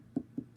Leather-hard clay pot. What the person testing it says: can hear that hollow sound that means that I stopped just at the right amount of time